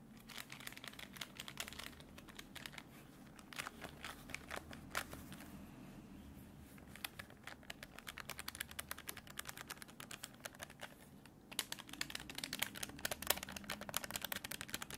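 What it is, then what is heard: Plastic desk calculator. A hollow black plastic desktop calculator, held in the hands, has its keys and case tapped and pressed with fingertips and short nails. The result is rapid, quiet, dry clicks and crinkly bright taps, with a brief softer lull midway and a denser, louder flurry near the end.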